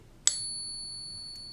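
A real silver coin, centered in a Pocket Pinger, is flicked once and gives a single bright, high-pitched ping. The ping holds clear steady tones that ring on through the end of the clip. The long, pure ring confirms the coin is genuine silver.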